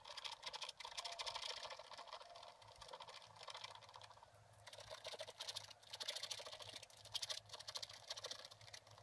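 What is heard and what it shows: A pointed wooden stylus held in the fingers scratches short strokes into a black wax-coated scratch-art page in a spiral-bound book lying flat on a table, with a brush lying unused beside it. The sound is a quiet, bright, dry rasping in rapid scratchy bursts with brief pauses, over a faint steady low hum.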